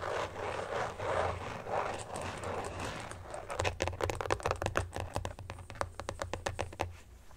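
A carbon-fiber-pattern phone case is scratched with nails on its back and inside, first while lying flat and then while held up. Slow, rhythmic scratching swells come first, then a quicker run of sharp, bright taps and scratches over a low steady hum.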